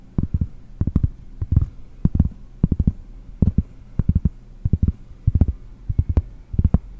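Long nails tap a large, round, solid cork trivet held in one hand. Quick clusters of soft, dull, low knocks stop almost instantly with no ring, over a faint steady low hum.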